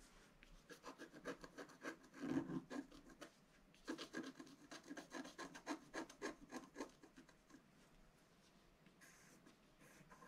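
A wooden stylus scratches the black coating of a flat, solid scratch art card, black over coloured foil paper and about A4 in size, near its right edge as it lies on a table. Quick, uneven strokes give a dry, rasping scrape with a mid-range body and short, bright edges. There is one louder burst near the start and a fainter, hissier stretch at the end.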